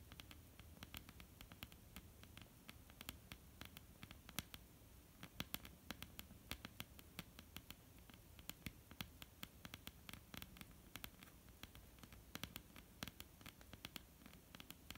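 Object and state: Wooden tabletop tapped with fingernails.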